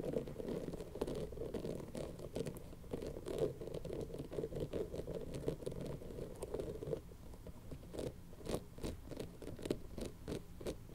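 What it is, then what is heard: Spiky rubber toy ball being scratched. Long nails and fingertips scratch and rub a colorful, hand-sized soft rubber toy ball covered in spikes. The result is a quiet, dense stream of dry, rapid scratching with a low-mid body. After about seven seconds it thins into sparser, crisper scrapes and taps.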